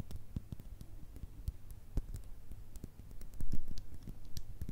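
Long red nails tap and scratch a small clear glass bottle with a thick base and a black top, hollow and holding some liquid. A rapid, uneven stream of short, dry clicks and light scrapes plays over a steady low hum, with thin bright ticks at each contact and a brief louder stretch near the end.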